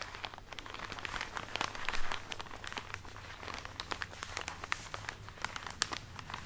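A full plastic package of cotton pads held close to the microphone is scratched and tapped by long fingernails. Rapid, bright crinkles and sharp clicks come in dense, uneven bursts over a steady low hum.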